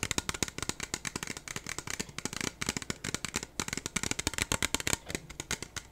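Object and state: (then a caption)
Clear plastic cup. A small, clear, hollow and empty disposable plastic cup is held in both hands and rubbed and tapped with fingertips and nails. About three dozen quick, crisp, bright clicks and taps come in an uneven rapid stream over soft scratchy rubbing. Each tap is dry and dies almost instantly with no ring.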